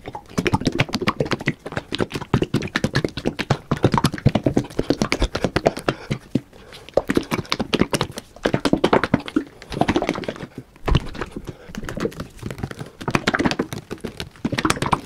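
A white, hollow, gallon-style plastic jug containing liquid is held in both hands, shaken and tapped with the fingertips close to the microphone. Rapid, dense taps with short, dull decays mix with liquid sloshing, with a hollow low-mid body and little high end. The flurries pause briefly around the sixth and eleventh seconds before resuming.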